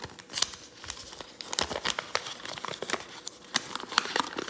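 A thin sheet of pink origami paper, mid-fold, is pinched, folded and creased by fingertips, then flattened on a wooden table. It makes a run of quick, bright crinkles and crackles with no boom or ringing. A few louder snaps stand out against a steady papery rustle.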